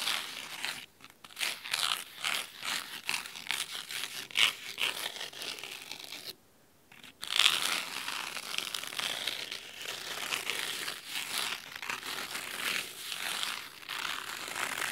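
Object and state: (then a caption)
Cloth-bound hardcover book. Fingernails of both hands scratch the red cloth spine of a large, thick, solid fabric-covered hardcover book. The result is a dry, bright, crisp scratching and rasping that comes in quick bursts, with a short silent pause around the middle before the scratching resumes.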